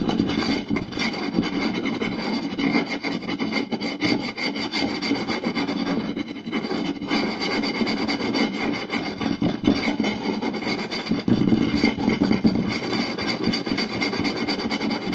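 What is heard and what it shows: Two hands quickly scratch and tap a round, solid wooden plate with fingertips and short nails. The result is a steady, dense rasping scratch with rapid tapping, centered around a low-mid tone with bright upper texture and brief louder bursts.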